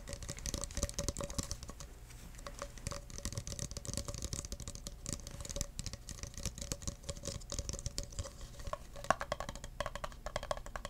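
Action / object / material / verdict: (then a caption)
tap / clear plastic cup / plastic / none. Fingertips tap and scratch the sides of an empty clear plastic cup in a rapid, continuous stream of soft, dry ticks and rustles. Each tap stops almost at once with no ring, giving a muted, thumpy texture over faint scratching.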